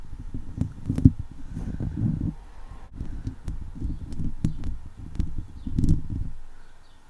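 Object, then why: Steel wire-mesh microphone grille. Fingertips and long nails from both hands scratch and rub around a hollow steel wire-mesh microphone head. The result is a dense, low, boomy rumble of scraping, broken by sharp, brief clicks of nails catching on the wire. It swells in waves and fades out toward the end.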